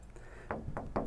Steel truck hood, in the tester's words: ผมเคาะไปมันจะแทบไม่ป๊องไม่แปรงเลยเพราะว่ามันเหล็กหนา